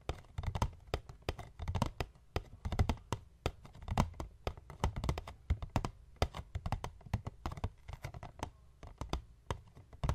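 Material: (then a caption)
Cardboard. Fingertips and short nails of both hands tap and scratch the top of a medium, hollow white paperboard box resting on a wooden table. Quick, irregular taps pile into dense bursts of low, hollow thumps, each topped with a short, bright click and a little scratching between strikes. Each tap dies away almost instantly, leaving a soft, dry, rhythmic patter.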